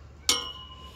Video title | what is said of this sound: 최지후 생후37개월 귀요미들 하원길 풍선 최재하 생후19개월 | 쇠는 날카로운 소리가 나.